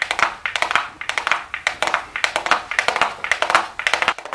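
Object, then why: Small cardboard makeup box. Super long blue acrylic nails tap and lightly scratch a small, flat, hollow, closed gold cardboard makeup box held in the hands. About 30 quick, crisp, bright clicks come in irregular bursts, each a dry papery tap with a hollow midrange tone near 1.3 kHz. Faint scratchy rustle sits between the taps, and there is almost no low end.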